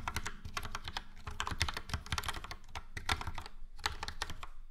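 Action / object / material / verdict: tap / plastic mechanical keyboard / plastic / none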